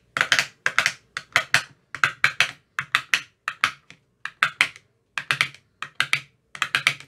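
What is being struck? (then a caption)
Empty plastic ice cube tray. An empty, translucent frosted plastic ice cube tray with 15 hollow compartments is tapped inside its cells with a thin metal rod that has a white rounded tip. The taps come in quick, irregular bursts of two to four, giving crisp, bright, hollow clicks that die away almost instantly.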